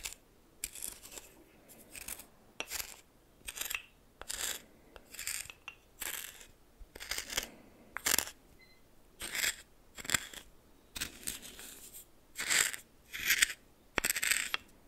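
A red plastic spoon held in the fingers stirs and scrapes a pile of white coarse salt in a small bowl that appears to be glass. The result is a series of bright, scratchy crystal scrapes arriving as short, irregular bursts roughly once a second, with quiet gaps between strokes.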